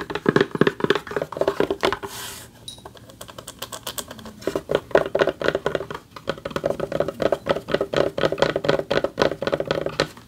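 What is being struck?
Award plaque with a textured back.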